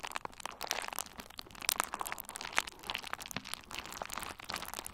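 A hand-sized bundle of pink and red plastic bubble wrap, with hollow air-filled bubbles, is squeezed and pressed between the fingertips of both hands. The result is a steady stream of dense, bright crinkling and crunching with sharp little pops and cracks. The sound is quiet overall, with almost no low end and crisp, short transients.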